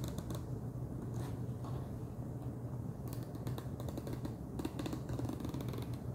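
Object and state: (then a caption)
Plastic snack jar lid. Fingernails tap rapidly on the top of a wide orange plastic screw lid on a large clear plastic jar full of Chester's Cheddar Paws cheese puffs. The result is a quick, steady stream of short, dry clicks over a low, dull hum.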